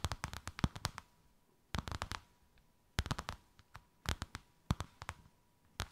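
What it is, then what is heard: Embossed faux leather sheet. Long white acrylic nails tap and scratch a thin white faux-leather sheet with a snakeskin emboss, draped over something rounded. Quick bursts of crisp, dry clicks come in clustered runs with short pauses between them, each tap dying away almost instantly. A faint steady tone hums quietly underneath.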